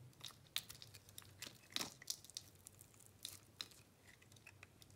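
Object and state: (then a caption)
Bar soap being shaved with a blade. A metal blade shaves long slices off a solid white bar soap with an orange base, held in hand. Quiet, bright crisp crackles and crunchy scraping ticks sound irregularly over a faint low hum, with a few sharper clicks standing out.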